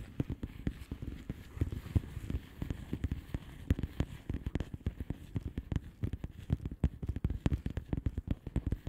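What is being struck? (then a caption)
Plastic bubble wrap envelope. Long polished fingernails of both hands tap rapidly and continuously on a flat blue plastic bubble wrap envelope. Each tap is a short, dry, dull thud that is mostly low in pitch with a faint crackle. The taps come in an uneven, steady stream with some louder accents.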